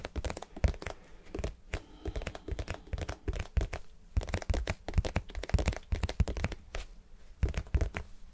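A vinyl cube is tapped and scratched in quick, irregular bursts. The taps are short and dull with a low, thumpy body, and scratchy, crinkly textures sit between them. Each hit dies away almost instantly.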